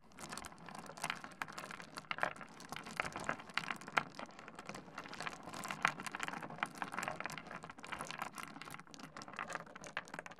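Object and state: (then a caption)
Small stone pebbles on a wooden desk. Fingertips rake and shuffle small solid stone pebbles across a wooden desk, clacking the stones together. The result is a dense, continuous stream of short, bright clicks and ticks with a gritty scraping texture and almost no low end. Occasional sharper clacks stand out above the steady patter.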